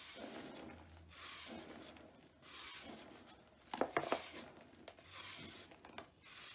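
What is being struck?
Soap block scraped with a blade.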